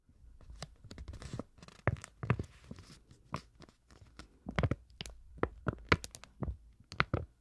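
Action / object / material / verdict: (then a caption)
tap / thin printed paper card / paper card / none. A thin printed paper card is flexed slightly while long nails tap and scratch across it. The result is a quiet, irregular stream of sharp, crisp clicks and brief scratchy rustles, each with a dull low thump beneath and no ringing after.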